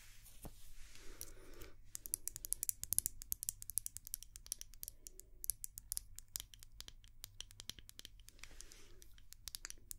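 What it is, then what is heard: Glass candle jar tapped with nails. A small white glass candle jar, held in both hands, is tapped and scratched with long nails. Rapid, dry, bright clicks and taps come in quick bursts, mixed with softer scratchy passages over a steady low hum.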